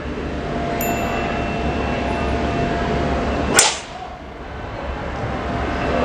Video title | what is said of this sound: KACA ANTI PECAH, APAKAH ADA ??? | saya jatuhkan ke depan ya oke dan tidak pecah